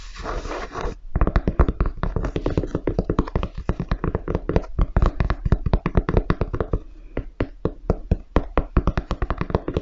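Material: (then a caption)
Leather, rubber. A grey high-top sneaker with a leather or suede upper and a white perforated rubber toe and sole is held upright, hollow, and tapped and knocked on the toe area with fingertips and nails. A brief brushing texture opens the clip, then after a short pause comes a long run of rapid, dull, low thuds with quick decay and light clicky edges, varying in loudness throughout.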